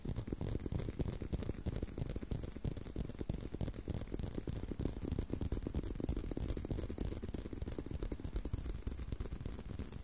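Continuous tapping and scratching on a leather belt produce a dense stream of quick, dull, low-heavy taps mixed with soft scraping texture. The sound stays steady and close throughout, with each tap dying away almost instantly.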